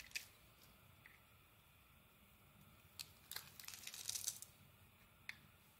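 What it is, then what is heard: Bar of soap being carved. A metal blade carves chips off a solid dark green bar of soap. Quiet, bright, dry crackles and scrapes come in scattered short bursts, building to a denser run of crisp shaving sounds near the end before a final sharp click. There is almost no low end.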